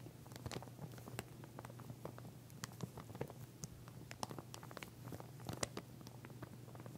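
Long nails scratch and tap over the teeth of a pink plastic comb lying flat in clear plastic packaging. Rapid, quiet, crackly clicks and rasps skitter on without pause over a steady low hum.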